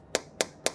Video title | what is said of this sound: Rumah Gen Z yang Fresh Luar Dalam di Sutera Nexen Virtu Phase 2 | Bunyinya padat ya nggak kayak kaleng